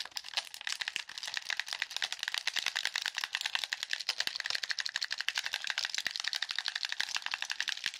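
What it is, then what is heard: Plastic game controller, buttons clicked. A black plastic handheld game controller, a hollow shell with buttons and sticks, is held in the hands and tapped while its buttons are clicked rapidly with fingertips and nails. A fast, steady stream of dry, bright plastic clicks and taps runs for the full eight seconds. Each click is sharp and dies almost instantly, with no low end.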